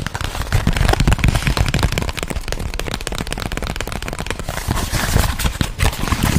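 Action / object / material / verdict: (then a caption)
tap / flat cardboard box sleeve / cardboard / none. A flat white cardboard box sleeve, held in both hands close to the microphone, is tapped and scratched quickly with fingertips and nails. The result is a dense, continuous run of fast, dull, low thumps mixed with dry crackling scratches.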